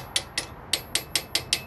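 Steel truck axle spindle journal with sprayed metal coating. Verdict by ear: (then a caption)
Resurfaced. A steel truck axle journal (spindle) that has been rebuilt by metal spraying is tapped eight times, giving short, bright, high-pitched metallic clicks that die away almost instantly. The tapping sounds different from normal because of the metal-sprayed repair.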